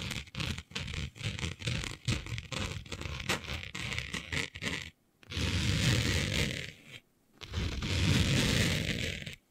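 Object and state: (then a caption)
Fabric scratched with fingernails. Long nails of both hands scratch and drag over a flat sheet of dark, planet-printed fabric. For about five seconds, quick irregular scratches crackle with a dry, bright rasp. Then come two sustained, louder drags across the cloth, separated by a brief silence.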